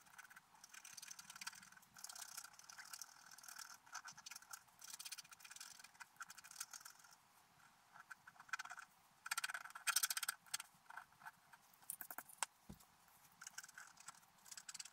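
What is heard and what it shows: A wooden stylus scratches details into a flat, black-coated scratch art paper page. Quiet, dry, bright scratching strokes come in bursts of rapid scraping with short pauses between them. The sound is almost all high hiss, with no low end.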